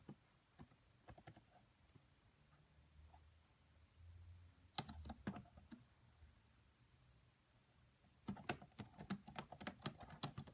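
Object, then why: Plastic laptop keyboard. Fingertips with long French-manicured nails tap the black plastic chiclet keys of a red laptop with a hollow body. Short bursts of quick, bright, dry clicks are separated by quiet pauses over a faint low hum, and the typing grows denser and louder toward the end.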